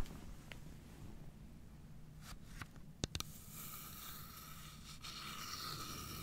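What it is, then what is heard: Wooden box tapped and scratched with nails. Long nails scratch and tap along the grained wooden side of a carved wooden domino box held upright on its edge. Quiet, soft scraping over a low background rumble is broken by a few sharp, bright clicks near the middle. A steadier, brighter scratching with a faint midrange whine follows to the end.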